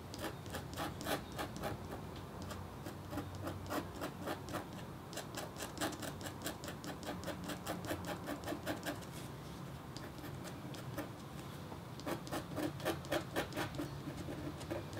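A metal stylus in a red wooden holder, held in the fingertips, scratches continuously across a flat black-coated copper foil scratch art sheet. Quick, fine rasping strokes repeat about four times a second, each a short bright scrape with a faint low hum beneath. The strokes ease in the middle and grow louder again toward the end.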